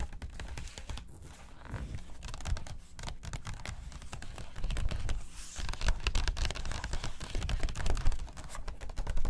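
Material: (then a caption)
Glossy paper. Long acrylic nails quickly tap and scratch the pages of an open, thin glossy paper magazine lying on a table. A dense, irregular stream of crisp clicks and papery scratches runs throughout with dull low thumps underneath, growing louder in the second half.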